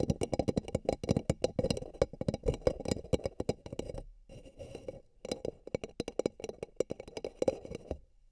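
Fingertips and nails tap and scratch the outer walls of two empty, hollow, beige paper cups placed over the microphone ears. Rapid, dry, hollow knocks with a resonant tone around 500 Hz die away almost instantly, with bright scratchy texture on top. Around the middle the tapping drops out to a brief silence and quieter scratching before resuming.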